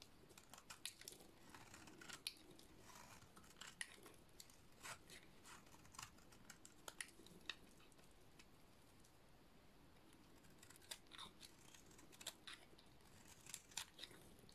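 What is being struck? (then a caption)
Bar of soap. A small metal blade scrapes repeatedly across the flat face of a dry, oval, solid yellow soap bar with a black painted edge, shaving off fine shavings. It makes quiet, crisp, dry scraping strokes with bright, sharp clicks that stop almost instantly, over a soft, steady background hiss.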